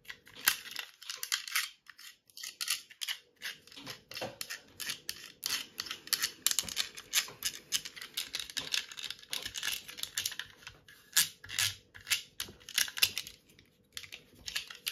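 A small yellow plastic box cutter with a ridged slider and metal blade is tapped and scratched with long nails while its slider is clicked. The result is a fast, continuous stream of sharp, bright taps, clicks and scratchy rasps with very little low end, over a faint steady hum.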